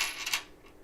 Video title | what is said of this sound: Coin Roll Hunt Reveal #271 : 1951-S Plastic Tubed Roll | sounds almost like a silver dime so it's a very underweight coin